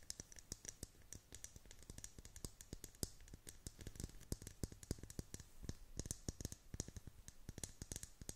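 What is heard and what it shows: Long painted nails tap and click on the hollow clear plastic dome lid of a tumbler filled with pastel beads and a unicorn figure. Rapid, quiet clicks with short dull thumps underneath come in an irregular, dense stream, each dying away almost at once.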